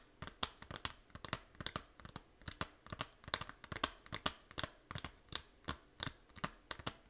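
Long nails scratch the back cover of a small hollow plastic 3DS game case, making a quiet, crinkly, bright scratching sound. About thirty short, dry strokes come in a loose, uneven rhythm with almost no ring after each one.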